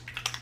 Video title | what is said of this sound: Fenty Beauty 420 Demo & Review - 13 hour wear on dry skin (Watch in HD) | you can hear that very liquidy